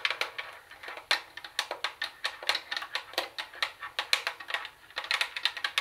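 Long acrylic nails tap rapidly on the flat plastic CD lid of a hollow Sony CFD-101 CD cassette boombox, giving around thirty quick, sharp, bright clicks over nearly six seconds. Each tap is dry and dies away almost at once, with a hollow plastic tone near 2.3 kHz and no low end.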